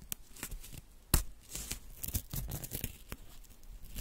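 Small torn pieces of thin white paper, pinched between fingertips with long nails, are torn into smaller bits. Soft, dry rips and crinkles come in quick, uneven bursts, with one sharper, louder snap early on. Between tears there is a faint rustle.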